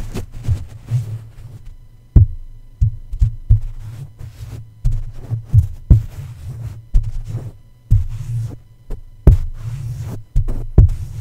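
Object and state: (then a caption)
Microphone grille tapped with soft fabric. A plush toy's fabric feet tap and press down on the top of a red microphone's black metal mesh grille. This produces a series of muffled, deep thumps with a low hum between them, and each thump dies away quickly.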